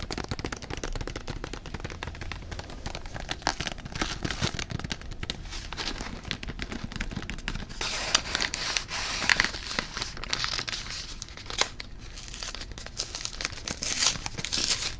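A small, closed Pepero box of thin cardboard with its contents still inside is torn open and handled with the fingers. The result is a steady stream of dense crinkling, tearing and crackling with quick, dry snaps throughout. The sound grows brighter and harsher toward the end as the cardboard rips.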